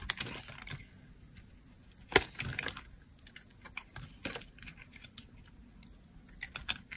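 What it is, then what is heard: Dry bar soap being cut. An oval green bar of dry, solid soap is shaved with a utility blade, making crisp, bright scraping and cutting clicks in irregular bursts. The sharpest cuts come at around 2.2 and 4.3 seconds, with quieter scrapes in between.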